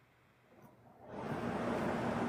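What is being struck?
Nothing is struck.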